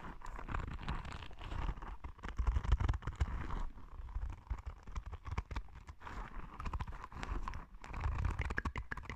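A palm-sized yellow soft rubber spiky sensory ball is held close to the microphone and scratched with long red nails. The result is a steady run of rapid, dull, low-heavy rustling scrapes and soft bumps, with short swells of louder scratching and little high content.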